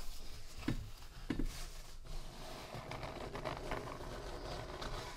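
Fingertips of both hands rub and scratch across the thick, slightly speckled paper pages of an open handmade notebook with a soft cover, lying flat on a dark table. The result is a quiet, continuous papery rustle and scrape, with a couple of louder soft thumps in the first second and a half.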